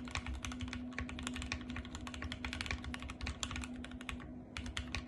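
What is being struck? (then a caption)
Plastic mechanical keyboard. Fingertips with long painted nails type and tap rapidly on a compact RGB-backlit mechanical keyboard with white plastic keycaps. The result is a dense stream of sharp, bright plastic clicks and clacks over a steady low hum.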